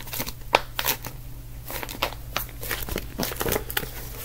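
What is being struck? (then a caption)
Paperback book with card cover. Fingertips tap and scratch the glossy blue and black card cover of a small, solid paperback book. Quick, dry taps and papery scratches with short crackly transients come in an uneven run over a steady low hum.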